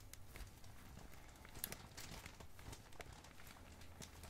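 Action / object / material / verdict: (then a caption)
scrape / plastic packaging bag / plastic / none. A medium, glossy black, blue and red plastic packaging bag, hollow and loosely filled, is squeezed and crinkled with both hands and fingertips. The result is a steady stream of dense, crackling crinkles with sharp, bright snaps over a low background rumble.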